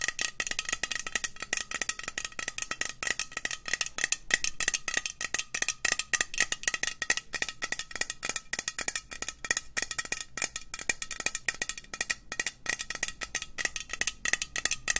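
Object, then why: Metal aerosol spray can. A hollow green metal aerosol spray can with a white cap is held in the hand and tapped rapidly with long nails. The result is a dense, continuous stream of short, bright metallic clicks with almost no ring, carrying a thin tinny tone near 1.9 kHz.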